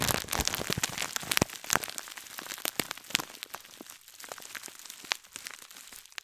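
A gold scouring sponge in a clear plastic bag is held close to the mic while long nails scratch and squeeze the plastic wrapping. The result is a dense, irregular stream of bright crinkles, sharp crackles and snaps that fades somewhat toward the end.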